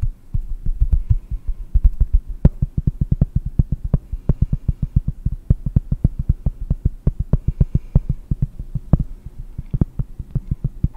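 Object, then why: Cork. Cork is tapped in quick, steady succession for over ten seconds. Each tap is a short, dull low thud that dies away almost at once, with a faint click on top of some of them.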